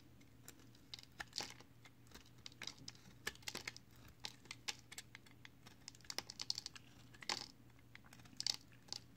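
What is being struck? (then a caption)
Bar of pressed soap chips carved with a blade. An orange box cutter blade carves along the edge of a solid multicolored recycled soap-chip bar held in hand. It makes a quick series of short, crisp, bright scraping crunches and flicks, each dying away almost instantly. A faint, steady low hum sits underneath.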